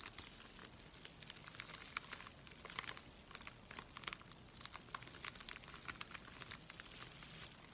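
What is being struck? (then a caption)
Thin paper mailing envelope. A thin, flat, apparently empty white USPS flat rate mailing envelope with a red stripe is held in both hands while fingers and nails crinkle and scratch its paper surface. The result is a quiet, steady bed of bright, papery crinkling with many sharp little ticks and scratches scattered throughout.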